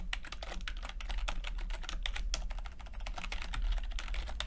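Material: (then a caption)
Plastic. Fingertips type steadily on a backlit chiclet computer keyboard with plastic keycaps, producing a dense run of quick, bright clicky taps. A steady low hum sits beneath the typing throughout.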